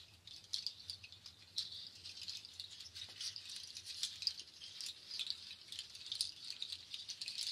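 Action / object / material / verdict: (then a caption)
shake / nut shell shaker on cords / nut shell / none. A nut shell waterfall shaker, a bundle of dark nut shells strung on cord strands, is held by its top loop and shaken and handled so the shells rattle against each other. The result is a quiet, continuous patter of dry, bright clicks with occasional sharper bursts and almost no low end.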